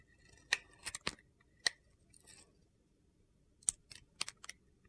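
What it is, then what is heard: Bar soap being shaved with a blade. A utility knife blade shaves thin orange curls off a solid rectangular bar of soap with gold glitter, held in one hand with long red nails. About ten short, crisp, gritty scrapes come in irregular bursts, bright and high-pitched with almost no low end. Quiet pauses fall between the cuts.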